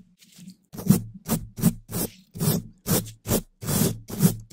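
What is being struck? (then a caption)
Metal wire-mesh microphone grille brushed with bristles. A gloved hand brushes and scratches the hollow black metal wire-mesh grille of a large condenser microphone with a long-handled wooden brush with pale bristles. A quick, uneven series of bristly scratching strokes follows, each pairing a bright, hissy rasp with a low, hollow body and a very short decay.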